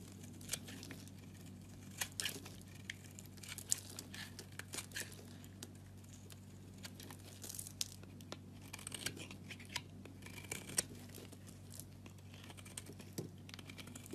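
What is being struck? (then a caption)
Bar of soap. A flat utility blade scrapes and shaves the surface of a solid, hand-sized bar of orange and white striped soap held in a hand with long dark nails, and flakes fall off. The clip is full of dry, crisp crackling and tearing scrapes with bright, papery crunches at irregular intervals. A steady low hum runs underneath throughout.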